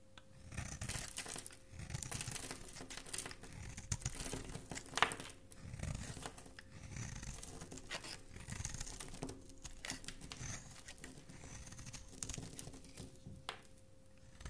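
A flat metal blade shaves and scrapes the surface of a hand-held, palm-sized, solid bar of black and white striped soap, held by a hand with dark painted nails, throwing off flakes. The sound is a steady run of soft, dry, crinkly scraping and tearing strokes with bright, grainy edges and a low, muffled body, with one sharper scrape standing out midway.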